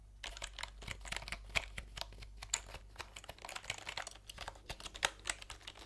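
A plastic computer keyboard is held horizontally in front of the microphones while fingertips type on its round plastic keycaps. The result is a rapid, uneven stream of short, bright clicks and taps with a few sharper accents, each dying away almost instantly over a faint low hum.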